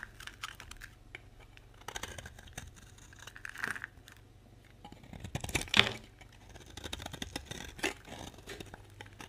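A utility knife scrapes and shaves crumbly pieces off a solid, dry orange bar of soap held in the hand. The result is a run of dry, bright, crackly scraping bursts with short grainy ticks between them, peaking in a louder rasp just before six seconds.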